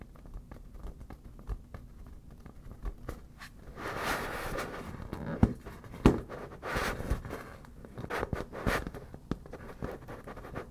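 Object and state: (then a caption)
Inflated vinyl beach ball. Long black natural nails lightly tap and scratch the taut, glossy surface of a fully inflated, hollow, air-filled yellow smiley-face PVC vinyl beach ball. Soft, dull taps and faint scratchy rubbing are heard, with a few sharper clicks and louder swishing passages in the middle. The sound stays low and muted, with little bright content.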